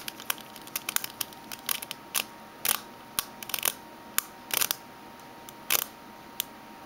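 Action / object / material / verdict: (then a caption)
tap / small metal mint tin tapped with fingernails / thin metal / none. A small oval metal mint tin, closed and hollow, lies upside down on a red table with its silver base and barcode label facing up while long fingernails of both hands tap its base and rim. Quick, bright clicks come in scattered bursts, some single and some in rapid clusters, each dying away almost instantly over a quiet background.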